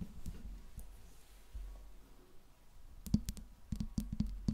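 Long pink nails tap and scratch the smooth metal body and grille ring of a silver Blue Yeti microphone. Soft, low scratching in the first few seconds gives way to a run of sharp, quick-decaying taps with a dull low ring near 210 Hz.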